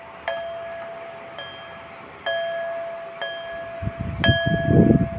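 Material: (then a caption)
Crystal glass. A crystal glass is struck five times, each tap giving a clear, bright ring with a steady tone that sustains between strikes. Low rumbling noise builds up toward the end. The ringing tone confirms it is real crystal.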